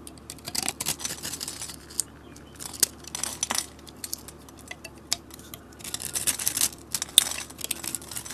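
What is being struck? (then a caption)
Bar of soap cut with a metal blade. A metal utility blade cuts into the grid-scored surface of a solid blue square soap bar held in the hand, slicing it into small cube chips. Bursts of crisp, high, scratchy scraping and snapping come in clusters with brief pauses. Many sharp clicks sound as the chips break away.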